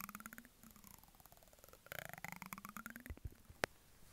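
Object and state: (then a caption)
Plastic cosmetic jar. A ridged brush handle is scratched against the rim of a medium white plastic cosmetic jar with a green plastic lid. It makes a quiet, rapid ratcheting buzz of tiny clicks whose pitch glides down and then sweeps back up. A single sharp, bright click stands out near the end.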